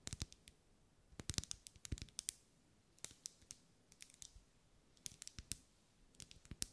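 Long light-grey nails tap the sides of a lit, solid, medium-size pink ribbed wax pillar candle held in one hand. The result is quiet, sharp, bright clicks that die away almost instantly, arriving in quick irregular clusters with brief pauses between them.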